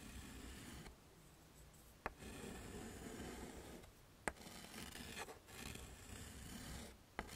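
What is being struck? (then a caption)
Chalk on a wood-framed slate chalkboard. A hand writes on a flat, dark chalkboard in a wooden frame with a stick of yellow chalk, scraping it across the surface. Long, gritty, rasping strokes are broken by brief pauses. Three sharp, bright taps stand out where the chalk strikes the board.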